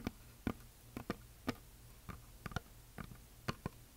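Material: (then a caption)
Wood. Long nails tap and scratch a flat, solid, heart-shaped wooden plaque painted with glitter. About ten short, dry taps, some in quick pairs, sound quietly over a faint low hum. Each pairs a soft low knock with a bright click and dies away almost instantly.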